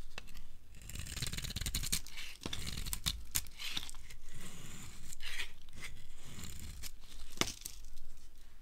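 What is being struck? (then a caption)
Soap bar scraped with a steel blade. A steel blade scrapes along the edge of a solid, dry white soap bar held in the hand, shaving off crumbly curls. The sound is a series of dry, irregular scraping and tearing strokes with crisp, crunchy detail and bright hiss, at a steady, quiet level.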